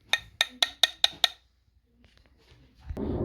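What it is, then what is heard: Plastic replacement engine part. Six quick, bright, hollow clicks come from knocking a premium-branded replacement part from a Toyota Sienna timing belt and water pump kit, ordered from Amazon. The sharp taps die away almost instantly, followed by near silence and then a rising broadband rustle. The part is plastic rather than metal, raising the concern that it may not withstand heat and high-speed spinning.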